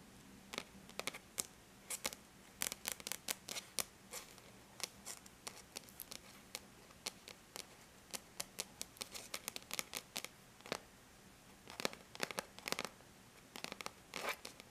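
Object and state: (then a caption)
Aluminum laptop lid tapped with fingernails. Long bare natural nails tap and scratch across a flat silver-gray aluminum laptop lid. Quiet, bright clicks land in irregular bursts and die away almost instantly, with faint scratching between taps over the whole stretch.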